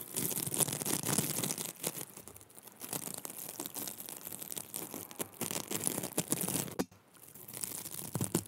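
Long nails scratch along the ribbed surface of a small pink plastic mesh hair roller, a hollow cylinder. This makes a dense, continuous scratchy rasp with bright hiss and a crinkly texture. It drops briefly to near silence just before the seventh second, then resumes.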